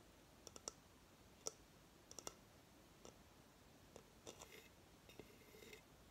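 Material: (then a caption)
Coconut shell. Long fingernails tap the base of a hollow coconut shell hamster hideout, making about a dozen sharp, bright clicks at an uneven pace. Each click is dry and dies out almost instantly. A few softer scratchy bursts come near the end.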